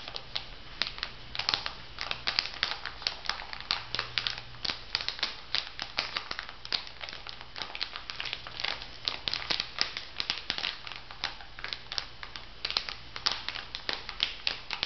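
A plastic-wrapped makeup sponge pack on a paper card, made of plastic film and card, is held up and flexed while fingers crinkle and tap it. The result is a dense, bright crackling of quick, dry crinkles and taps throughout, with a faint low hum underneath.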